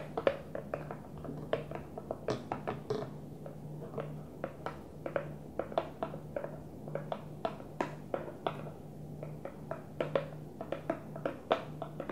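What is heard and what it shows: A Tupperware plastic food container is gently tapped, making many quick, light taps in an uneven rhythm over about 12 seconds. Each tap is a short, dry click with a hollow mid tone near 550 Hz that dies away almost at once. A steady low hum runs underneath throughout.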